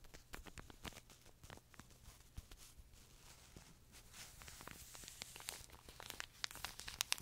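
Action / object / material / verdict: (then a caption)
scrape / pocket tissue pack in thin plastic film / plastic film / none. A small, colorful pocket tissue pack in a thin plastic film wrapper, soft and full of paper tissues, is held in both hands close to the mic and squeezed, crinkled and scratched with fingertips and nails. The result is a quiet, steady stream of sharp, bright plastic crackles and crinkles with short, dry snaps. The crackling grows busier and brighter toward the end.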